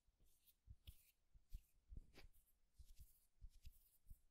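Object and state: Wooden egg.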